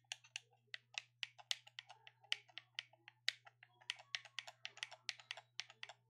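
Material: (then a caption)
Plastic. A black plastic gamepad is held in both hands while the thumbs repeatedly click its buttons. About 25 quick, bright plastic clicks come in an uneven rhythm, each dying away almost instantly, over a faint steady low hum.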